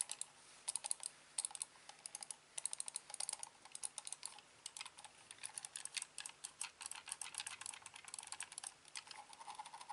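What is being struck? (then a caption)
Plastic computer mouse. A hand-sized, hollow, black plastic corded computer mouse is held in the hand while fingertips click its buttons. The result is a rapid, uneven series of many quiet, sharp, bright clicks that stop almost instantly, with no low-end body.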